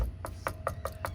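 Five quick knocks on the metal wheel rim of a 2023 Toyota Corolla Hybrid LE, each a short, dull tap with a brief tone around 1.2 kHz. The real metal rims contrast with the plastic hubcaps on the 2022 model.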